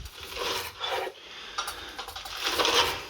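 A fried, panko-breaded chicken Kiev is handled in the pan, giving bright, raspy crunching and scraping in several bursts that are mostly high-frequency with almost no low end. The crunch shows how crispy the coating is, and the chicken is cooked to perfection in the middle.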